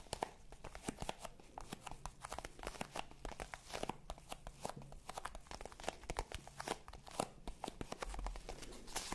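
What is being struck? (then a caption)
Small zippered hard-shell faux leather case. Long pink nails scratch along the face and edges of a small black faux leather zippered hard-shell case, hollow and held upright. A quiet, steady stream of rapid, dry scratches and clicks sounds crinkly and bright, with a faint low rumble underneath.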